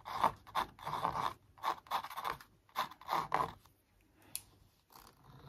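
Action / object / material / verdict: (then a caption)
scrape / stretched canvas print on a wooden frame / canvas / none. A thin wooden stick traces and scrapes along the printed lines of a large, hollow-backed canvas print stretched on a wooden frame. Short dry scraping strokes come in bursts, centered around 1 kHz with a bright, airy edge, separated by brief pauses. Toward the end the strokes give way to near silence, a single small tick, and a faint, rising final scrape.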